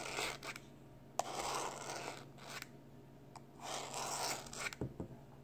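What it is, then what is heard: Plastic external hard drive casing scratched. A small rectangular black plastic external hard drive with a printed label and a solid-feeling casing is held in one hand while the fingertips and short nails of the other hand scratch and rub across it. Soft, bright scratchy rubbing comes in bursts, broken by a few sharp little clicks, over a faint steady low hum.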